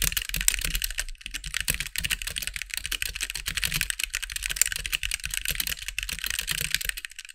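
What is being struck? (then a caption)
Mechanical keyboard with plastic keycaps. Both hands type with their fingertips on a compact backlit mechanical keyboard with white plastic keycaps. A fast, steady stream of short, bright plastic clacks carries on for about seven seconds, with a soft low thump under the keystrokes. Each keystroke stops dead with no ring.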